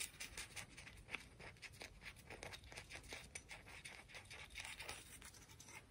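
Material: Shell.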